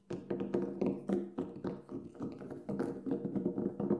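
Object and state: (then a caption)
Synthetic frame drum head. Fingertips tap on the black synthetic head of a large, hollow Remo Buffalo frame drum lying flat with its head up. A quick, unevenly spaced run of soft taps produces warm, hollow, low-mid thuds centered around 360 Hz. Each tap dies away quickly.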